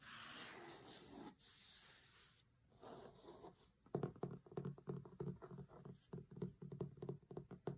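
Short-nailed fingertips trace slowly across the grey linen cloth cover of a large, thick, closed hardcover cookbook with a glossy food photo, lying flat on a marble table, making a soft, breathy rubbing hiss for the first few seconds. The fingertips then switch to quick, uneven tapping on the cover, producing a run of muted, low, hollow thuds that stop almost instantly.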